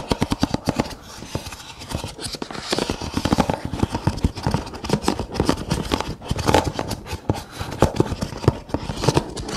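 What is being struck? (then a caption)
Nested kraft paper cups. Fingernails scratch and tap along the rolled rims of several brown kraft paper cups, nested together and lying on their side, hollow and empty. A rapid, uneven run of short, dry scratchy clicks and rasps follows, each dying away almost instantly, with a hollow low body and little brightness.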